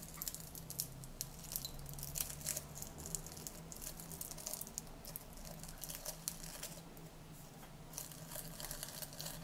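Fingertips with painted nails reach into a small clear glass jar about half full of dried green, mint-like herb leaves and crush and crumple them. Dense, quiet, bright crunchy crinkles and crackles continue throughout over a steady low hum.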